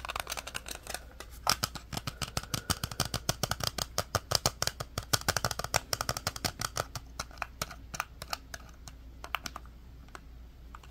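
A small black hollow plastic wireless computer mouse is held in both hands while fingertips and thumbs click its buttons and tap and press the shell. The result is a rapid, dense run of short, dry, bright plastic clicks and taps that thin out toward the end, over a steady low hum.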